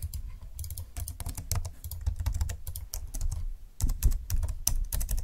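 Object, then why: Plastic slim computer keyboard. Fingertips type and tap the plastic keys of a slim computer keyboard, hands moving across its left side. Quick clicks and taps come in uneven bursts over a low thumpy body with short, bright key edges and little ring.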